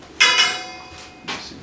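A metal boiler is tapped and gives bright, high-pitched metallic rings with a clear tone around 3.4 kHz that lingers briefly after each strike. The boiler sounds hollow, indicating a low water level inside.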